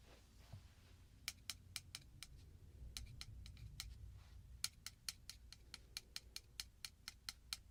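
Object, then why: Metal piece. A piece of metal is tapped in about two dozen quick, bright taps, arriving in short bursts with pauses between. Each tap is a sharp, high click that dies away almost instantly, over a faint low background rumble.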